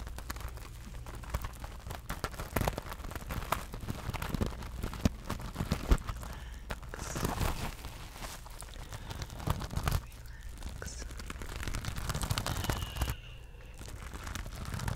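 Long nails scratch and tap across a small silver rhinestone-covered mesh purse with a loop handle. The result is a steady stream of dry, crinkly scratching and quick clicking taps over a low, soft rumble, with a few sharper ticks standing out.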